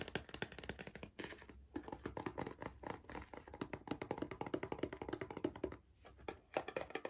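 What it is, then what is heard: Cardboard crisp tube. Fingertips tap and scratch rapidly on the side wall of a tall, hollow Pringles cardboard crisp tube while it is tilted. The result is quick, dry, hollow taps with a mid-pitched resonance around 600 Hz and almost no ring, broken by two brief pauses.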